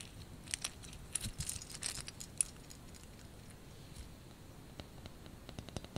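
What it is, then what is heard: Ceramic ice skate ornament. Fingernails tap and scratch a small white painted ceramic ice skate ornament with red beads and a dark blade. Quiet, bright clicks and crackly scratches cluster densely early on, then fade into a soft scratchy lull. A scattering of sharp taps follows toward the end, each dying instantly with no ring.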